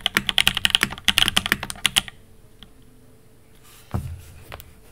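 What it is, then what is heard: Mechanical keyboard typing. A Fox Labs Time80 Reforged mechanical keyboard with an aluminum case, Alpaca V1 switches and ABS keycaps is typed on by two hands with fingertips, including presses on the long pink spacebar. A quick, irregular burst of bright, crisp clacky keystrokes fills the first two seconds, then falls to near silence. A single lower, heavier thock follows just before the four-second mark.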